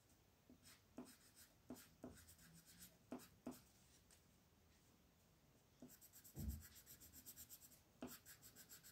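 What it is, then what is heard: Pencil scratching on paper. A green wooden colored pencil, held in a hand with long blue nails, rubs and scratches across a thin printed paper coloring page lying flat on a table. Soft, papery strokes come in short scratchy bursts with bright hiss, then a quiet pause. Faster, rhythmic back-and-forth coloring follows, with one heavier low rub.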